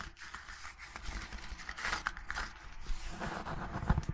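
A red hardcover book with a gilt-embossed cover is held upright while long nails tap and scratch its cover and gilded spine. Dry, papery scratching and scraping runs throughout, with faint crinkly rustles and short soft taps over a low background rumble. The taps grow a little sharper near the end.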